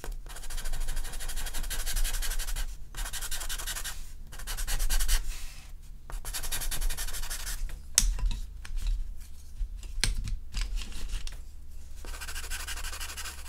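A charcoal pencil held in the fingertips makes short strokes across a large sheet of artist's paper lying flat on a table, drawing a charcoal horse. Bursts of bright, dry scratching and rubbing come and go with brief pauses between strokes, over a steady low hum.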